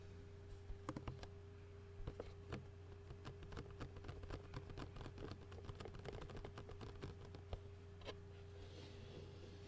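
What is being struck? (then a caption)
Clear plastic food container lid. Rapid fingertip and nail tapping on the outer surface of a clear plastic takeout lid with food residue, held in both hands. Quick, dry clicks with almost no ring come in quiet, uneven bursts over a steady low hum.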